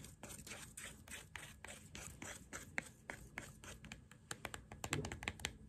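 Fingertips and short nails tap and scratch a small roll of clear plastic adhesive tape with a hollow ring, held up close. The result is a quick, uneven series of dry, bright scratches and soft clicking taps, each dying away almost at once, over a faint low hum. The last second brings a few sharper, louder taps.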